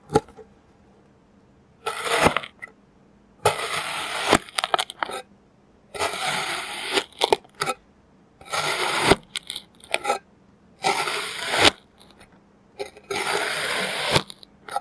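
A clear plastic serrated knife cuts and scores a pile of orange kinetic sand. Repeated short bursts of bright, gritty crunching and scraping alternate with near silence, with sharp clicks at the end of strokes.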